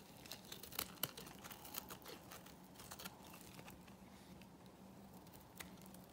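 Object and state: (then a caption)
Bar soap being shaved with a blade. A small metal blade shaves flakes from the flat surface of a solid dry pink bar soap held in the palm. It makes dry, crisp crinkling scrapes with sharp bright clicks, loudest near the start and again toward the end. A faint steady low hum runs underneath.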